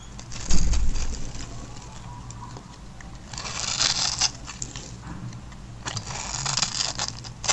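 A metal blade cuts and scrapes a grid pattern into a hand-sized, solid black-and-white striped bar of dry soap held by fingers with long white nails, flaking off small cubes. Irregular bursts of dry, bright crackling and scratchy scraping come in clusters over a low, steady rumble, with quieter gaps between strokes.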